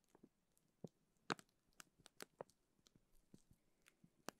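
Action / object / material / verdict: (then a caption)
scrape / plastic zip bag filled with gel beads / plastic / none. Fingertips squeeze, rub and crinkle a clear plastic zip bag full of teal gel beads. The result is a quiet run of sharp, brief crinkles and crunches with bright highs over a soft rustle.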